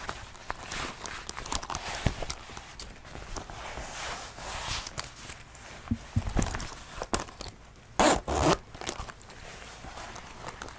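A brown leather biker jacket with brass buttons and metal zippers is held up by the collar with both hands, shaken and handled while fingertips move along the leather. Soft leather rustles and creaks mix with quick metallic zipper clicks and jingles, and two louder, brighter rustling bursts stand out near the end.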